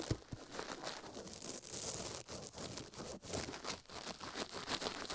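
A toothbrush scrubs fast across a silicone ear microphone at close range. The result is a dense, continuous scratching with rapid rhythmic strokes, a bright, hissy texture and a thin low thump underneath.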